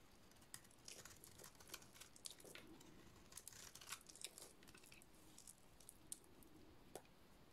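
A utility-knife blade shaves a dry, solid yellow soap bar with a painted black surface. Quiet, bright scraping and crisp crinkly strokes repeat throughout, punctuated by sharp clicks as the blade bites and flakes break off.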